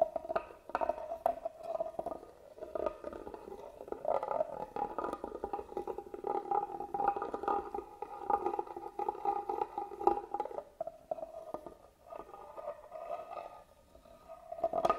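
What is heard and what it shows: A small black tool scratches along the carved grooves in the lid of a hollow, hand-carved wooden box held upright. The result is a steady, rapid, raspy scratching with a hollow, boxy resonance centred in the mids, with little low end or high treble. The scratching briefly dips in level around the twelve-second mark.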